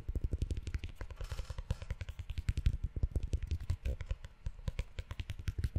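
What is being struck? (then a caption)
Leather notebook cover. Fingertips tap and scratch the cover and ridged spine of a brown, book-sized leather notebook held close to the mic. A fast, uneven run of short, dull, deep thumps dies away almost instantly, with brief soft scratchy rustles between them.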